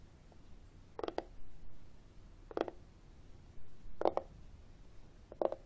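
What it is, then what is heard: Plastic external CD drive casing tapped. Fingertips and short nails tap and scratch the textured top of a flat, hollow black matte plastic external CD drive casing, held at an angle over a wooden table. Short, dry hollow taps come in four clusters, some doubled, with soft scratching between them over a low background rumble.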